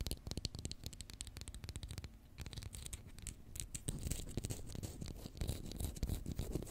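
Long fingernails rapidly tap and scratch a small, hollow white plastic Pritt glue stick tube held in the fingers, later with the cap end turned up. Short, dry taps with a low, hollow body blend into scratchy rasps that grow denser and brighter in the second half.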